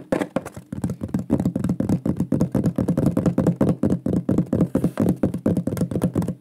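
A large, flat, shield-shaped solid wooden pyrography plaque with a burned lion design is held upright and tapped fast with the fingertips and nails. About forty quick, dry knocks fall in an uneven rapid patter, each hollow and woody with a low-mid thump and a very short decay.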